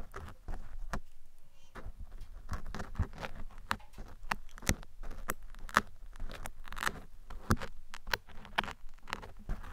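Metal tweezers and picks are scratched and picked across a black foam microphone windscreen. The result is a dense, crackly patter of short, sharp clicks and rustles over a heavy low rumble, with brief louder snaps scattered throughout.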